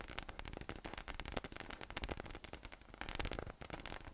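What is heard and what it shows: A yellow, hollow, air-filled inflatable PVC massage ball with nubs rests on a table and is tapped and patted with fingertips. The result is a quick, uneven run of soft, dry taps with dull low thumps and a faint bright crackle. Each tap dies away almost at once.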